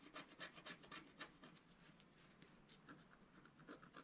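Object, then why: Coated scratch art paper scratched with a wooden stylus. A wooden stylus scratches quick, repeated strokes into the coating of a flat, thin, black-coated scratch art sheet. Each stroke makes a dry, bright, rasping scrape with little low end. The strokes come at nearly four per second, stronger at first and then lighter and softer.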